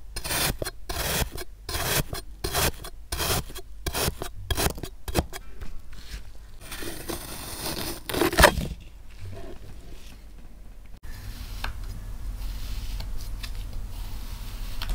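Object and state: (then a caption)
Kinetic sand being sliced. A thin pink plastic knife slices a solid, packed dome of blue kinetic sand into layers in a small clear plastic cup held in a black-gloved hand, and sand crumbs fall off. Quick, crunchy rasping strokes come in a rapid rhythm for the first six seconds, then give way to a longer continuous scrape with a sharp crunch near the middle. The rest settles into a soft, steady low rustle.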